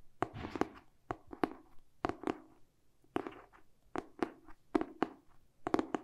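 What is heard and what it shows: Short painted fingernails tap quickly on the glossy cardboard cover of a medium-sized, solid hardcover paper book tilted in the hands. The taps come in rapid clusters of sharp, dry clicks with a bright edge and a hollow knock around 320 Hz. Each one stops almost at once, with no ring.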